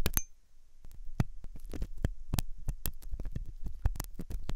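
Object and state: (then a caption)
Metal pick scraping a silicone ear. A metal dental pick scrapes inside the hollow ear canal of a white, soft silicone ear on a binaural microphone. The scraping comes as a rapid run of short, dry scratches and clicks over a heavy low rumble, with brief bright ticks at the start.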